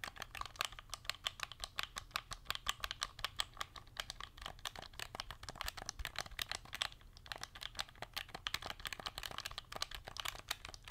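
A cream and gold hand-held plastic game controller with a hollow shell is held in both hands close to the mic while long nails tap and click its buttons and scratch across the plastic surface. Rapid, dry, bright clicks and taps follow one another steadily, peaking around 3.3 kHz, with each click dying away almost instantly. Faint scratchy texture fills the gaps, and there is very little low end.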